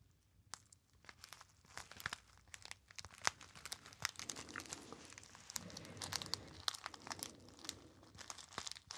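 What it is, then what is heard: Metallized foil pouch being crinkled. A small, hollow, apparently empty gold metallized foil pouch is crinkled and squeezed by fingertips. Quiet, bright crinkling and sharp crackles come in quick, uneven bursts with almost no ring. The sound grows denser and fuller through the second half.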